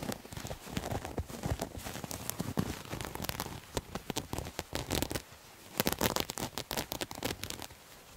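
Fingernails scratch a bunched, soft, multicolored striped terry cloth towel, making a dense stream of short, crackly scrapes with a bright rasping texture. The strokes run nearly continuously, with a brief quieter lull around the middle before a stronger burst of scratching resumes.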